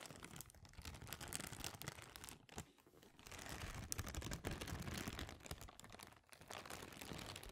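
An empty, clear, thin plastic bag is crumpled, stretched and crinkled by hand close to the microphone. It makes a dense, continuous crackle of sharp, bright rustles over low handling noise, with two brief lulls before the crinkling picks up again.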